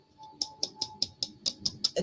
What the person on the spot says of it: It sounds almost plastic. It's hollow.